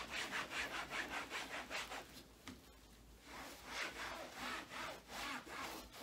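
A gloved hand rubs a blue microfiber cloth back and forth across a black rubber treadmill belt with a red Sunny logo. The steady, brisk wiping strokes make a bright, hissing scrub, which quiets briefly near the middle before resuming.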